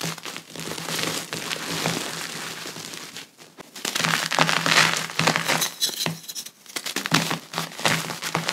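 Powder-coated hands grab and crush soft clumps of pressed gym chalk into a pile of loose chalk powder, squeezing and rubbing to crumble them. Dense, bright crunching and crinkling rises and falls in irregular bursts, with brief quieter pauses and a faint steady low hum underneath.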